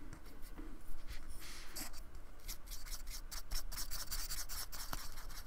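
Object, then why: Expanded polystyrene block. A thin paintbrush with a metal ferrule is stroked and scratched across the rough, beaded surface of a small, flat, solid white styrofoam square held by fingertips on a wooden table while painting. It makes a steady run of dry, scratchy brush strokes with bright rasping bursts over a faint low rumble.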